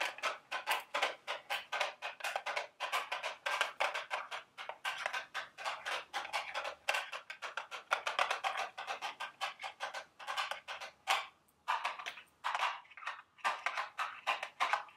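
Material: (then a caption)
Cardboard. A small, hollow, printed cardboard candy box shaped like a milk carton is held in the hand and tapped with long, sharp acrylic nails. The clicks are rapid, dry and hollow, with bright, clicky detail and no low end. They run in quick bursts with short pauses throughout.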